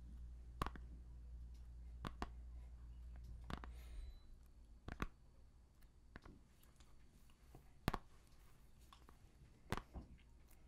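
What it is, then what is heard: Plastic CD jewel case in cellophane. Fingernails tap and click on a small, hollow plastic CD jewel case still in its cellophane shrink-wrap, held close. Sharp, dry clicks come at scattered intervals, each dying away almost instantly. A low hum sits underneath for the first four seconds, then drops away, leaving the quiet clicks.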